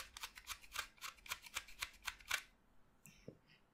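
A utility knife blade cuts into a solid white chalk stick resting on a pile of chalk dust, with other chalk fragments lying nearby. About thirteen quick, bright, dry scraping strokes come in a loose rhythm over the first two and a half seconds. They are followed by a pause and a few fainter clicks and scrapes.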